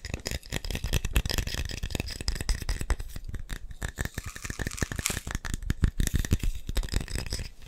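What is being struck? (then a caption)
Glass coffee jar with plastic lid. A glass instant coffee jar, partly filled with brown coffee granules and closed with a red plastic lid, is held in both hands and tapped rapidly with the fingertips and nails on its glass sides. The taps come in a fast, dense stream of short, dry clicks with a dull low thump underneath and bright ticks from the nails, stopping almost instantly with no ringing.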